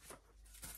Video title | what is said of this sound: Partie 1 parlons scrap / a 13mn48 Partie 2 Reborn. une faute dans le nom d’une chaîne (barre d’info) | qui va pouvoir secouer ça fait du bruit c'est marrant